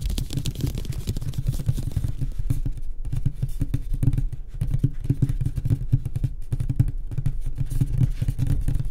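Both hands tap fast with fingertips and short nails on the flat, solid light-wood panel top of a wooden nightstand. The result is a dense, continuous patter of dull, low, woody knocks that die away quickly, with faint brighter clicks from the nails.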